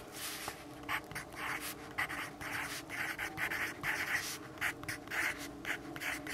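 A yellow wooden graphite pencil scratches across a lined paper notepad on a wooden desk, the pad held flat by the left hand while the right hand writes continuously. Irregular bursts of bright, papery scratching rise and fall with each stroke over a faint, steady low hum.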